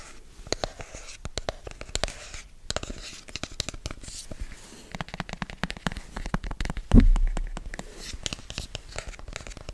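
A hollow black rigid cardboard product box, held in both hands, is scratched and tapped with fingertips and nails in a quick, irregular run of dry clicks and soft scrapes. The sound is low and muffled, with one heavier thump near the seven-second mark.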